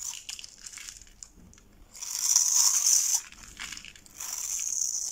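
A metal box-cutter blade scrapes and shaves a hand-held, solid rectangular bar of dry pink soap with red dye spots, pre-scored in a grid, into small crumbly cubes that fall onto the table. Bright, dry crunching and crackling scrapes come in bursts, with a long, louder, hissing shave in the middle and another sustained scrape near the end. The sound is almost entirely high and brittle, with no low end.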